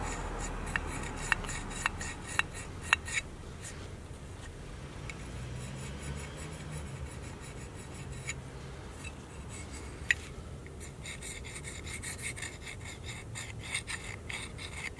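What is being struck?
Cast aluminum engine piston.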